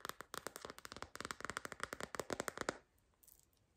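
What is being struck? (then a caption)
Silicone phone case. Long green fingernails tap rapidly and irregularly on a hollow, soft silicone/TPU white floral phone case with a wavy orange-rimmed edge, held in the hands. Each tap is a short, dry, bright click with almost no ring. The taps stop at about 2.8 seconds, followed by a few fainter taps.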